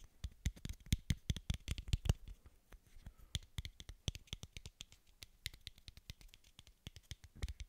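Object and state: Plastic bottle cap.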